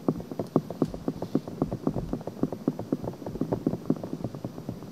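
Long painted nails rapidly scratch the outer ear of a pale pink silicone binaural microphone. A quick, uneven run of short, dry scratching strokes sounds, each one soft and muffled with a low-mid body and no bright edge. The strokes stop almost instantly with no ring.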